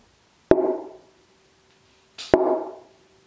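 A wooden mandola soundboard, already tuned, is tapped at its crown where the bridge will sit. Each tap gives a short, dry wood-block knock with a brief tone near 370 Hz that fades within about half a second.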